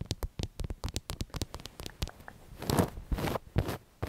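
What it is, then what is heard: Fabric throw pillow. Long nails tap and scratch a soft, stuffed black fabric throw pillow printed with the word "BOO" and a spiderweb design. A quick series of soft, muffled taps gives way to broader, fuzzy scratching sweeps across the fabric, with a dull, low-heavy sound.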